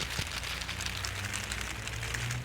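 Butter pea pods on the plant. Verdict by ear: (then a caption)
Dry. A butter pea bush is shaken, and its dried pods on the bush give a dry, continuous rattle like a baby rattle, with a low steady hum underneath. The rattle shows the peas have dried on the bush and are ready to harvest.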